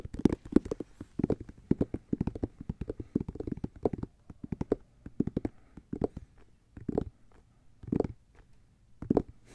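Fingertips and nails scratch and tap across the solid treaded white rubber outsole of a Nike SB Dunk held flat. Quick clusters of dull, muffled taps and soft scrapes come in bursts with short pauses, dry and without ring, sitting in the low-mid range.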